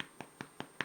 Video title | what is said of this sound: white bread | Sounds hollow? That means it's done.